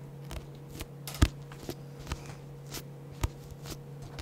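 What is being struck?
Paperback book with card cover.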